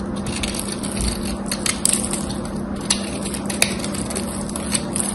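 A small knife carves a whole gold-coated solid bar of soap with an embossed pattern, sending dry flakes falling. Continuous scraping and crunching is broken by sharp, bright crackles and snaps, over a steady low hum near 200 Hz.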